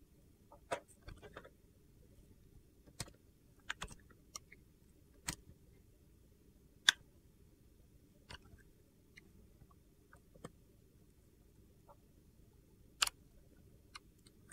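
An egg-shaped, solid, hand-sized bar of clear glycerin soap with colored soap cubes inside is held in one hand while a metal box-cutter blade scrapes and shaves thin curls off its surface. The result is quiet, sharp, bright scraping clicks and crunches that come at irregular intervals over a low, steady background hum.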